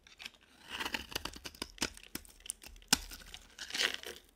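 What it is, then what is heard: Dry bar of soap. A utility knife blade scrapes and shaves a dry, cream-colored, palm-sized solid bar of soap. The result is a quick series of dry, crisp crackling and crunching scrapes, bright and papery with very little low end, each stroke snapping off short with almost no ring.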